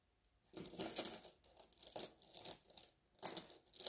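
Fingertips rub a net bag of blue glass gem beads, then a flat hand presses and massages the whole bag, making the beads grind and clink against each other. The sound is quiet, bright and crackly, with almost no low end, arriving in rustling bursts of gritty clicks separated by brief near-silent gaps.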